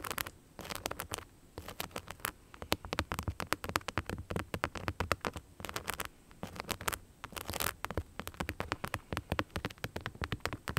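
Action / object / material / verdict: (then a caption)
scrape / knit sneaker covered in rhinestones / rhinestones / none. Long nails tap and scratch across the rhinestone-covered upper of an empty beige knit sneaker with a rubber sole, held in the hand. Dense, rapid clicks and patters with brief scraping runs fill the clip, each hit short and sharp with almost no ring.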